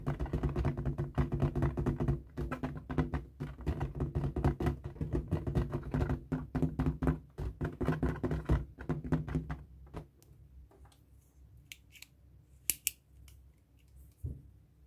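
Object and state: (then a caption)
Latex balloon. Fingertips press, rub and squeak across the stretched rubber skin of a light blue, hollow, inflated latex balloon held in the hands. Dense, low, thumping rubs fill the first ten seconds, then the sound drops to a quiet hush broken by a few sharp, bright squeaks.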